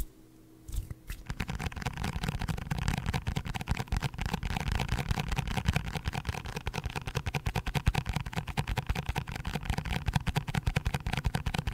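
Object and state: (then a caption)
Cardboard box. A cardboard box is tapped quickly and hard with dense, rapid taps. After a brief quiet start, a continuous stream of dull, low, hollow thuds with short papery clicks runs steadily to the end.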